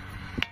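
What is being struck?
Basalt boulder struck with a stone.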